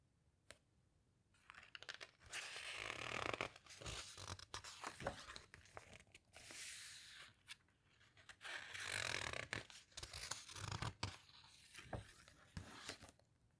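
Fingertips with long nails press and rub across the glossy pages of an open hardcover guitar book, producing bright, papery crinkling and rustling in several sustained bursts with sharp little ticks between them. A page is then turned, ending with a softer rustle that fades out.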